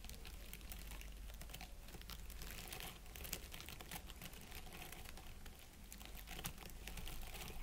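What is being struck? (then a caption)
Plastic pine-needle wreath. Fingertips tap and scratch the needles of an artificial plastic pine wreath set around an LED candle. The result is a continuous, quiet stream of dry, bright crinkling ticks and scrapes over a steady low hum.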